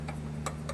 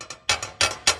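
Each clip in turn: First: Three short, clean ticks on a seated saw throat plate, with no buzz or rattle trailing them. Second: Quick bright clacks with little ring: a table saw throat plate rocking loosely in its opening.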